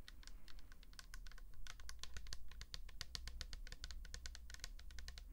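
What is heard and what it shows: Long acrylic nails rapidly tap and scratch a tall pink plastic L'Oréal toner bottle, hollow and filled with liquid, with a paper label. The result is a quick stream of dry, bright clicks with almost no ring, over a steady low hum.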